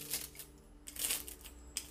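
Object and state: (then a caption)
Crispy baked pastry. A freshly baked pastry, baked at 180 degrees for 20 minutes until golden brown on top and bottom, is handled and crunched, giving off bright, dry crackling bursts. The crisp crunches come in about six quick clusters over a faint low hum, and the sound shows the pastry is crispy.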